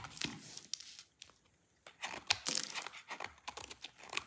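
A partly carved, pale lilac dry soap bar held in the hand is cut with a yellow-handled utility knife. Bright, crisp scraping and crunching cuts come in irregular bursts, with a short quiet pause near the middle.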